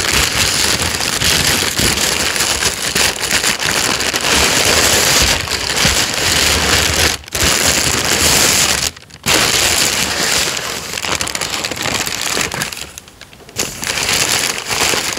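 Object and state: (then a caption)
Tissue paper being crinkled. Loose sheets of thin white wrapping tissue paper inside an open cardboard shoe box are crinkled, pressed and rubbed by fingertips and an open hand. The result is a dense, bright, continuous crackling rustle, broken by brief pauses near 7 and 9 seconds and a quieter stretch around 13 seconds.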